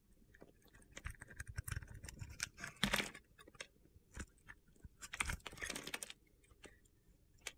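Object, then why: Solid soap bar. A box-cutter blade slices crunchy pieces off a solid mint green soap bar with a gold edge, held in hand. The result is a quiet series of crisp, gritty crunches and sharp ticks, with brighter bursts of scraping as the blade bites through the bar.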